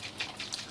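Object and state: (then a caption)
Dried coconut with water inside (good). A dried coconut is shaken, and the coconut water inside sloshes in quick bright splashes. Four sloshes stand apart in the 0.8-second clip. The audible water inside marks a good coconut, since one with no sound from inside is probably spoiled.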